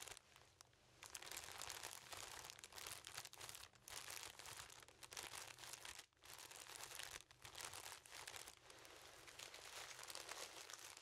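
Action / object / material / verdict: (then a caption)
scrape / plastic cellophane wrap / plastic film / none. Cellophane plastic wrap around a yellow object is held up and crinkled, with fingertips squeezing and rubbing the film. A dense, bright crackling plays almost continuously, with brief dips around six and seven seconds before the crinkling resumes.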